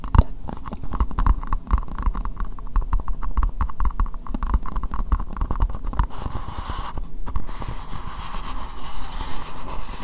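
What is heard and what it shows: Long nails tap and scratch an empty, hollow, translucent pink plastic bowl close to the microphone, making a rapid run of dull, low, hollow knocks with a boxy midrange tone. After about six seconds the tapping gives way to a steadier scratchy rubbing across the plastic, with a few scattered taps continuing.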